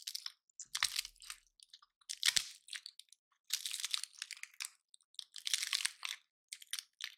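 Fingertips and nails pluck and snap the woody scales off a dry, palm-sized pine cone with white-painted tips. Bright, crunchy cracks and crinkling bursts come in irregular clusters separated by brief silences. Each snap is sharp and dies away almost instantly.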